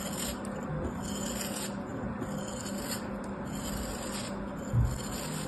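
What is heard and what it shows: A metal craft knife blade cuts and scrapes a small, solid, molded kinetic sand castle held between the fingers. The result is a steady, soft, gritty rasping and rubbing with a low, dull body, ending in a slightly louder crunch near the end.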